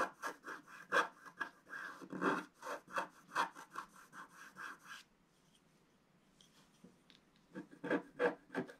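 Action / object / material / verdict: scrape / black-coated scratch-art paper scraped with a wooden stylus / coated paper / none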